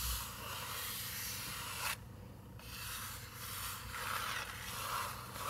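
Fingernails scratch and rub across a paper page of an open picture book, making a steady, bright, papery scraping hiss. The scratching briefly drops to a quieter rub about two seconds in, then picks back up and continues to the end.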